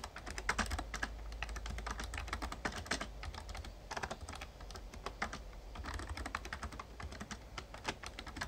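A full-size backlit plastic Razer Ornata Chroma mecha-membrane gaming keyboard is typed on steadily with fingertips. The result is a continuous stream of quick, short-lived key clicks and taps over a low rumble.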